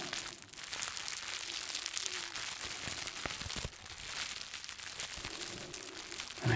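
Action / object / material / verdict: scrape / plastic bubble wrap / plastic / none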